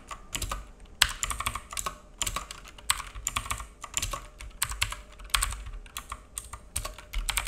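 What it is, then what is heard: Plastic mechanical keyboard being typed on. A black full-size mechanical keyboard with plastic keycaps and a hollow case, resting on a wooden desk, is typed on with the fingertips of both hands. Rapid, uneven bursts of sharp, bright plastic clicks come with a soft low thock under each key tap. Each tap dies away almost at once.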